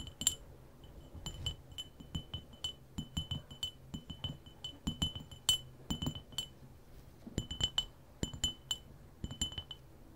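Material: Glass.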